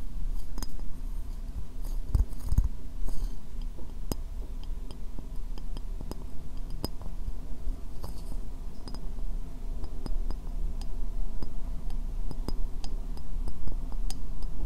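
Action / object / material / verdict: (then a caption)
tap / upturned ceramic bowl / ceramic / none. Long painted nails tap the outer surface and foot ring of an empty white ceramic bowl held upside down. Many quick, bright clicks with very short ring sound over a steady low hum.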